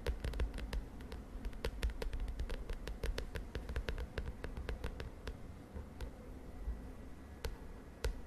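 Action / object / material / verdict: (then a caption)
tap / plastic notebook cover tapped and scratched with fingernails / plastic / none. Long nails tap and scratch quickly across the lilac plastic cover of a spiral notebook. The result is a rapid run of short, sharp, dry clicks with bright edges that die away almost at once, over a soft, low, rumbling bed.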